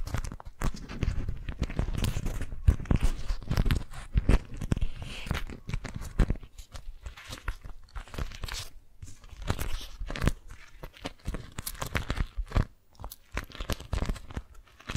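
Fingers grip and crinkle an orange-print, beeswax-coated cotton food wrap bunched in the hands, the sticky waxed fabric giving off a dense run of crunchy, crackling rustles. The short, dry snaps crowd together with little ring, louder early on and easing into softer, intermittent crinkles with brief pauses.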